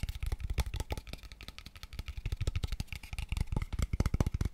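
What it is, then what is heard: Hollow empty wooden tube box. Fingertips and nails rapidly tap a small, empty, hollow, pale wooden square tube box at different angles. About thirty quick, dry knocks are heard: mostly low, hollow thuds with bright clicks from the nails. Each tap dies away almost at once.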